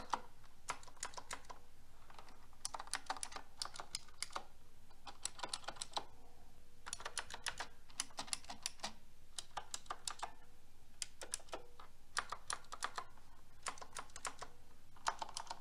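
Fingertips with long red nails press the side keys of a mechanical keyboard with pink plastic keycaps on a silver metal frame. Quick, bright plastic clicks and clacks come in irregular bursts, with brief pauses between them, at a fairly quiet level. Each keystroke is short and dry, with almost no ring after it.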